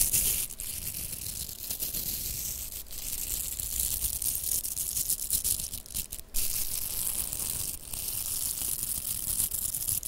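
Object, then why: Plastic velcro hair rollers. Long nails scratch the bristles of two pink hollow velcro plastic hair rollers, and the rollers are rubbed against each other. A dense, continuous bright scratching hiss with a low rumble underneath runs throughout, broken by a few brief dips around 0.5, 2.8, 6.2 and 7.8 seconds.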